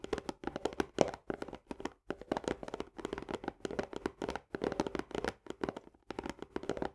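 Long fingernails on both hands tap rapidly on the upper wall and plastic lid edge of an Orzo Bimbo barley canister, a hollow, partly filled paperboard tube. The result is dense bursts of dry, clicky taps with a hollow midrange tone and almost no ring. The bursts are separated by brief pauses.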